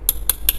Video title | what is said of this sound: BONGKAR SALAH SATU REEL KOLEKSI ! SASAME CURIOMAX SPINNING REEL ! PAKE JUGA BELOM, BONGKAR AJALAH ! | kalau gua ketok tuh bunyinya beda ya ini bagian rotornya fullmetal ya